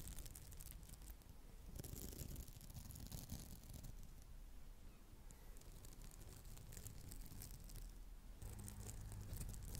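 Long acrylic nails scratch and rub the textured face of a round, palm-sized, solid red polymer foam smiley sponge. The result is a steady, soft, crinkly scratching texture with a heavy low rumble underneath and faint bright hiss that swells and fades across the clip.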